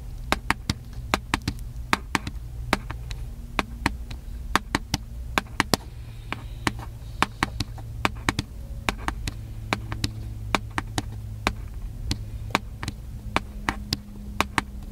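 A small, hollow, black plastic handheld camcorder is tapped lightly with the fingertips on its body. It gives a steady stream of short, dry, clicky taps that die away almost instantly, with bright edges over a low, constant hum.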